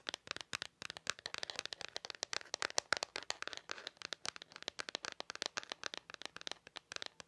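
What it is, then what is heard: Plastic calculator tapped with nails. Long nails tap and scratch the hard plastic casing on the back of a handheld black plastic calculator. A rapid, uneven stream of sharp, dry clicks comes with light scratching between them, bright and thin with no low end. Each tap stops almost instantly.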